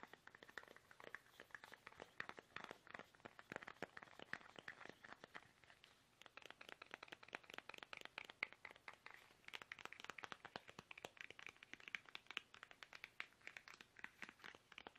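Fingertips tap fast on a small, hollow, squeezable soft plastic toothpaste tube held upright in both hands. Quiet, rapid, dense taps crackle with a crisp, crinkly edge, centered bright around 2 kHz with almost no low end, and each tap dies instantly. The tapping runs unbroken through the clip, with a brief lighter stretch near the middle.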